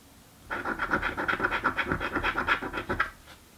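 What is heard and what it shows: A coin held in the fingertips scrapes the scratch-off coating of a thin card "Mystic Riches" lottery ticket lying on a table. After half a second of quiet, about 17 quick, uneven scraping strokes rasp for roughly two and a half seconds, with a gritty, whistling tone near 1.4 kHz. The sound then stops and fades back to quiet.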